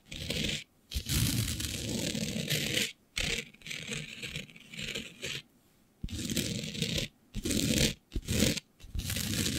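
Long beige nails scrape and scratch across a flat black glitter-coated sheet with both hands. Bursts of gritty, broadband rasping, bright with a rough low rumble, run for a second or two at a time, broken by short silent pauses.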